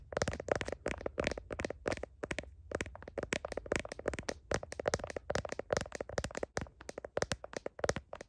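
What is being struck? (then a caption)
Smartphone in a plastic case. Long nails tap quickly on the back of a smartphone in a blue plastic heart case and on its camera bump. A rapid, uneven stream of crisp, dry clicks follows, each dying away almost instantly, with short pauses between bursts.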